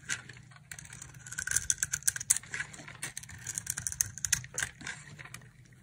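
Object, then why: Bar of soap shaved with a knife blade. A utility knife blade scrapes and shaves a solid, palm-sized oval bar of dry green soap into thin curls. It makes a series of quick, crisp, bright rasping strokes with sharp high crackles over a faint low hum.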